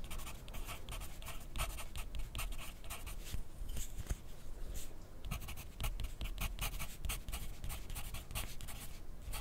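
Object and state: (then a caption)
Pencil writing on paper over a plastic clipboard. A wooden graphite pencil, held in the fingers, scratches across a thin sheet of lined white paper clipped to a white plastic clipboard lying flat on a desk. Its steady writing strokes make a continuous dry, scratchy rasp with short bright bursts over a soft low rumble.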